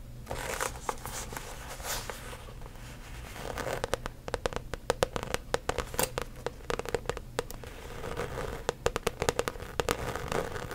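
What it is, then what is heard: Coated canvas handbag. Long acrylic nails tap and scratch across the front face of a medium-size, rainbow-print coated canvas handbag with a zipper top, held upright. Rapid, dry clicking taps with a hollow, papery knock alternate with soft scratchy rasps. Each tap cuts off almost instantly.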